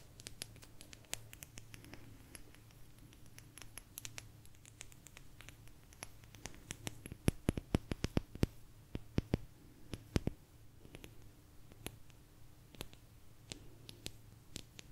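A small, thin, solid blue agate slice is tapped with long nails close to the microphone. The result is a steady run of quick, dry clicks and light scratches over a low hum. The clicks ring bright and stop almost at once, and a louder cluster of taps comes through the middle of the clip.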